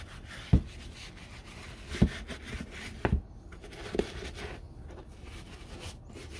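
A brown leather Red Wing Iron Ranger work boot, coated in soap lather and held by hand, is scrubbed with a wooden-handled bristle dauber brush. Wet, soft brushing on the leather runs throughout, with five short, low, dull bumps where the brush strokes press harder.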